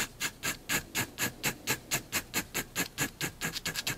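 A fineliner pen makes dense hatching strokes across the cat's body drawn on a white paper sheet resting on a desk. About 20 short, bright, scratchy strokes follow one another at a brisk, slightly uneven pace, each ending quickly with no ring, and the last few come closer together.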